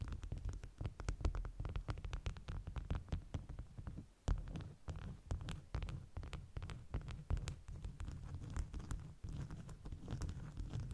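Long natural nails and fingertips tap and scratch the top layer of a stack of several folded beeswax-coated cotton wraps with a bee print, lying flat on a white cloth. Dense, rapid, soft taps and scratchy patters run almost continuously, deep and muffled in tone with only faint bright edges, broken by a brief quiet pause around the four-second mark.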